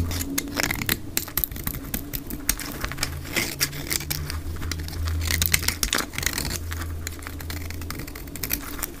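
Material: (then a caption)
Soap. A black utility blade shaves thin curls off the face of a solid, dry, olive-green soap bar held in both hands, sped up to double speed. Rapid, dry, crisp scraping and crackling cuts come in quick bursts over a steady low hum.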